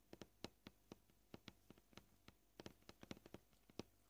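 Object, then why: Plastic cutting board. Short purple-painted fingernails tap the edge and surface of a solid white plastic cutting board, landing 18 quiet, dry clicks at an uneven, shifting pace. Each tap is a brief knock centred around 220 Hz with a light bright click on top, dying away almost instantly.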